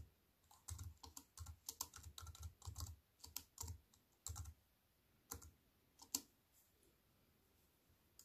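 Fingertips with white-painted nails type fast on a slim wireless keyboard with black plastic keys in a grey metal-look frame, lying on a wooden table. Quick bursts of short, dry key clicks combine a soft low thump with a bright clack. The typing runs dense at first, then thins to scattered taps with quiet gaps toward the end.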